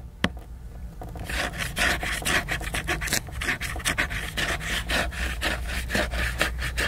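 Fingernails scratch and rub the cover of a large, glossy, laminated cardboard hardcover book that is solid and flat. A single sharp tap comes first, then from about one second in a steady run of bright, raspy scratching strokes follows, roughly two per second and unevenly spaced, over a low background rumble.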